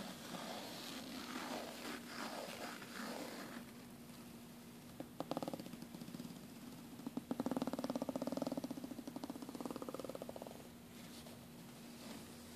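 Fingernails scratch across the black woven nylon panel beside the zipper on a red soft suitcase. It makes soft, rough scraping strokes over a steady low hum, building into faster, louder bursts of brisk scratching in the middle before easing off.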